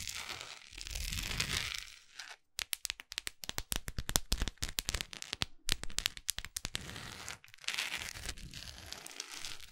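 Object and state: Wax pillar candle.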